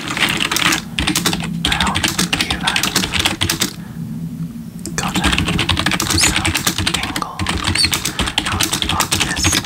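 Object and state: Plastic keyboard typing.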